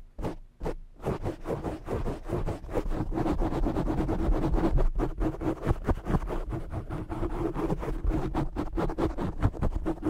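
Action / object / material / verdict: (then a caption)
scrape / foam microphone windscreen / foam / none. Short fingernails scratch the top and sides of a black foam windscreen on a desk microphone, producing rapid, dense bursts of rough, muffled scraping. The strokes come in a loose, fast rhythm, heavy in the lows with a boomy thud under each stroke and almost no high-end crispness.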